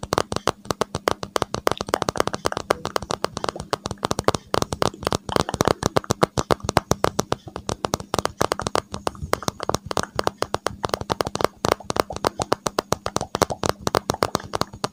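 A smartphone in a hard case is held over a microphone and tapped rapidly with the fingertips, including the thumb. The result is a fast, uneven stream of dozens of short, dry clicking taps with almost no ring, over a faint steady low hum.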